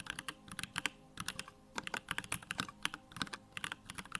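Fingertips type rapidly on a small 65% Bakeneko65 mechanical keyboard with a plastic case, Durock lavender switches and pink-white plastic keycaps, resting on a wooden desk. A quick, uneven run of short, bright clicks and clacks, each dying away almost instantly, centres around 1.5 kHz with little low end, separated by brief pauses.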